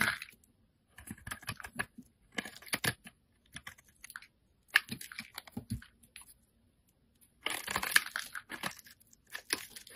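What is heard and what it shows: A solid rectangular green bar of soap, held in the hand, is shaved and scraped with a metal utility blade, and curls of soap flake off. The result is quiet, crisp, bright scraping strokes that come in short clustered bursts, with near-silent pauses between them.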